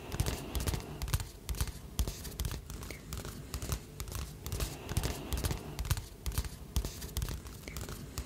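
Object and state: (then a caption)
Glossy paper magazine. A glossy paper magazine held upright in one hand is tapped and scratched on its cover with the fingertips and nails of the other hand. Quick, uneven, dry taps with soft, dull low-end thumps mix with brief scratchy rustles, each hit dying away almost instantly.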